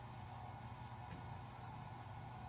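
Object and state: Nothing is struck.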